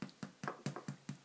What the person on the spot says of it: it sounds Hollow underneath